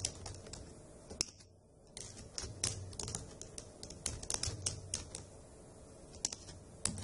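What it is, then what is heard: Plastic laptop keyboard being typed on. Long acrylic nails and fingertips tap the hollow keycaps of a dark grey plastic laptop keyboard while typing, giving a run of sharp, bright clicks over a low, soft thud. The typing stops briefly near 1.5 seconds, then resumes with several louder clacks standing out.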